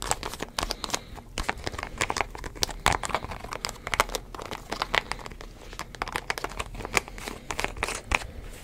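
Fingertips twist, tap and rub the white plastic screw cap of a green-labelled plastic drink bottle while the other hand holds the bottle. The result is a dense run of quick, dry clicks, crinkles and scratchy rubbing with a bright, crackly edge, each tap dying away almost at once.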